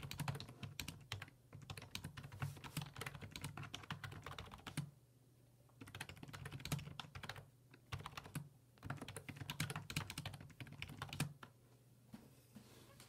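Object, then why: Plastic computer keyboard. Fingertips type on the hollow plastic keys of a black plastic full-size computer keyboard resting on a wooden desk. The rapid, clicky taps come in bursts with short pauses between them, over a steady low hum.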